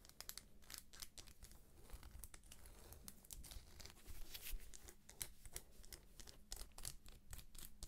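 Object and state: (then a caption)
Shrink-wrapped paperback book. Long nails scratch along the edges and cover of a thick paperback book held up in plastic shrink wrap. The result is a quiet, steady stream of crinkly scratching and tearing-like rasps, broken by quick, bright ticks and crackles over a low, soft rumble.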